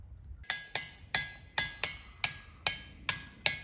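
A hammer strikes rocks in a boulder field in a steady series of sharp blows, each one producing a bright, bell-like ring with clear high tones that carry briefly between hits. Only about a third of these boulders ring audibly, though all of them ring, often at tones too low for human ears.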